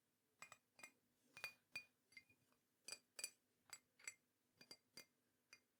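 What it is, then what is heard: Ceramic mug. A teal and green ceramic mug is tapped repeatedly at an uneven pace, giving about fifteen short, bright clinks with sharp high ringing that fades almost at once. The taps are quiet, with little low-end body.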